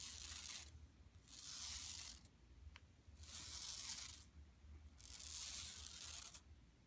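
Long nails scratch across the surface of a flat, empty yellow woven plastic mesh tote bag lying on carpet. Four separate bursts of bright, raspy scraping rise and fall over a steady low hum, with quieter gaps between them.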